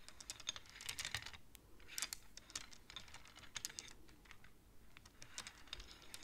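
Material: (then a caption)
Wood. Long-nailed fingers rapidly slide the painted wooden beads of a wooden abacus so they click against each other. The result is a quiet, fast, irregular stream of short, bright clacks that die away almost instantly, with a few louder bursts among them.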